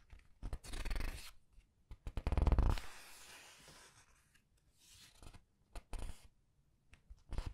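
Red-nailed fingertips slide over and turn the printed paper pages of a large open paperback art book resting on a white table. Dry, papery rustles and sweeping swishes rise into a louder crinkling flip before fading to a soft, brushing hiss. Short, crisp page flicks and rubs follow between quiet pauses.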